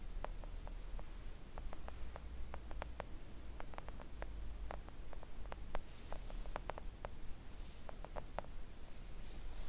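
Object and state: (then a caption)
Silicone nail art mat. Long acrylic nails on both hands gently tap a flat, thin, solid pink silicone nail art mat resting on a table. The result is a scattered run of soft, short, dull clicks with almost no ring, over a steady low hum.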